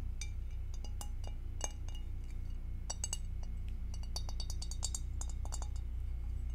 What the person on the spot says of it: Tapping on glass with acrylic nails